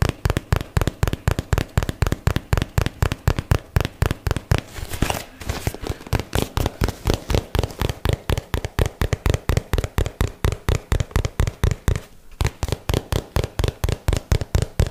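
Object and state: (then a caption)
Cardboard product box. A cardboard paperboard product box is tapped with fingertips and nails on its sides and edges close to the mic, producing a rapid, steady stream of about 67 short, dry, hollow taps. The taps are low and thuddy with almost no ring, with brief rougher, scratchier breaks around the 5-second and 12-second marks.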